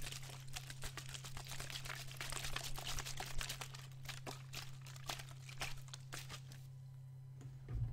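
A clear PET water bottle with a teal cap and green label, partly dented, is squeezed and crinkled with the fingers while water sloshes inside. The result is a dense run of sharp, bright plastic crackles and small liquid splashes over a steady low hum. Near the end the crinkling stops, leaving a quieter stretch before a brief final rustle.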